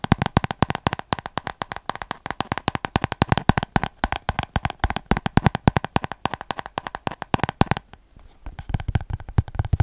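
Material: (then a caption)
Paper. Fingernails rapidly tap and scratch the page block edges of a small paper spiral notebook, making a dense run of short, dry clicks. Each click is full of low thump with a papery rasp above it. The tapping drops out briefly near the eight-second mark, then resumes more softly.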